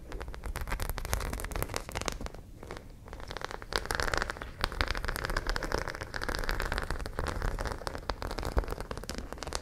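Long nails scratch along the rows of small studs on a white fabric pouch, producing a dense, crackling, rain-like patter of quick ticks. The scratching continues steadily, easing briefly in the middle before picking up again.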